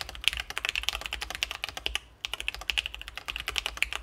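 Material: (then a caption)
Plastic. Both hands type continuously with their fingertips on a split ergonomic Sesame Ergo mechanical keyboard with C3 Kiwi switches, an acrylic case and plastic keycaps, resting on a desk mat. The keys give quick, bright, clacky taps centered around 2.6 kHz with very little low end, and there is a brief pause just before the two-second mark before the rapid typing resumes.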